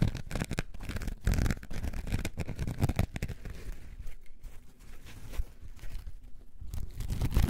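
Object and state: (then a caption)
Foam sponge being scratched. A coarse orange foam sponge is held in both hands and scratched and squeezed with long nails. The result is a dense run of rough, crackling scratches over a deep, muffled rumble, with brief brighter rasps in quick bursts throughout.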